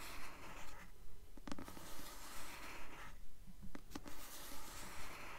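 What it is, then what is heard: Paperback book cover scratched with nails. A paperback copy of the novel "Delirium," held upright, has its solid, glossy paper cover scratched gently with long nails. The quiet, steady, rhythmic strokes make a soft, dry scratching hiss that spreads from low to high.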